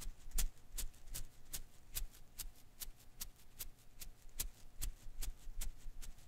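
A single blue and green Koosh ball of thin rubber filaments is held in one hand while the thumb and fingertips flick its strands. This produces 16 short, crisp, bright snaps in a steady rhythm about every 0.4 seconds. A soft low rumble sits beneath them, and each snap dies away almost instantly.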